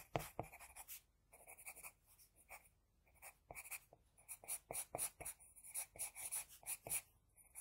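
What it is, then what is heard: Pencil on drawing paper. An HB pencil scratches across a flat sheet of drawing paper while drawing an eye, making a quiet series of short, dry strokes with a bright, papery hiss. Brief pauses break the scratching into bursts.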